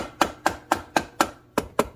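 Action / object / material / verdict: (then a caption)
tap / metal gear cover sealed with gasket maker / metal / loose. A dead blow hammer taps eight times on a metal gear reduction cover sealed with gasket maker, breaking the seal. Each hit is a short, dull midrange knock that dies away almost at once. The seal has broken and the cover is loose.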